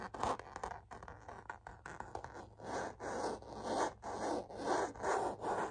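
Long natural fingernails scratch and tap across the flat front of a hollow, seemingly empty rose-gold metallic faux leather zip cosmetic pouch. Soft, papery scratching comes in rhythmic swells, with light taps in a fairly steady pattern, mostly in the low-mid range.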